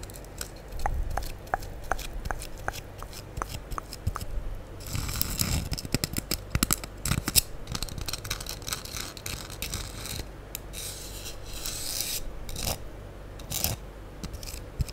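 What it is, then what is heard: Foam sponge block scratched with nails. A solid, light-blue porous foam sponge block is held close in front of the microphone and scratched and rubbed with long acrylic nails. It opens with a steady run of short, dry ticking scratches. These give way to denser, crackly rubbing and scraping bursts with a bright, airy hiss over a low rumble, continuing in uneven flurries to the end.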